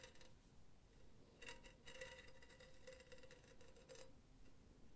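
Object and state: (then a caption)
Metal mesh pen holder. Long teal nails tap and scratch across the diamond mesh of a hollow, empty, silver cylindrical wire-mesh pen holder lying on its side. Soft, uneven bursts of scraping and light tapping bring out thin metallic ringing tones around 500 Hz and 2 kHz, with a bright, airy shimmer above. Each touch fades quickly over a low, quiet background.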